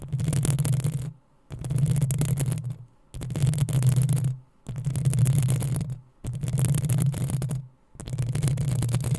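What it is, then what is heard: Metal mesh microphone grille being scratched. Long nails scratch the hollow metal mesh grille of a black desktop microphone in six separate bursts with short silent gaps between them. Each burst is a dense, rough scraping with a heavy low rumble and a faint bright hiss on top.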